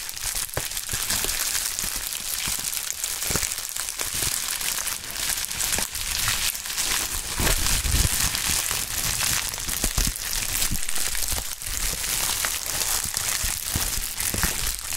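A pink plastic bubble wrap sheet is flexed, crushed and squeezed between gloved hands. A steady, dense crinkling and crackling runs throughout, bright and hissy on top, with occasional soft low thumps and sharper pops scattered through the handling.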